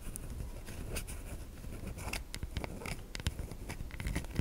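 A solid white bar of soap held in the hand is scratched across its surface by long nails, with shavings falling off. Close, dry scratching and scraping sounds come in quick bursts over a steady low rumble, with bright crackly ticks as the nails catch the soap.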